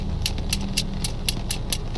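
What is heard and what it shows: Iron is knocked against an iron fence to show what such knocking sounds like, as evidence that mysterious knocks were made by people rather than spirits. A steady series of short, bright metallic taps rings briefly over a constant low hum.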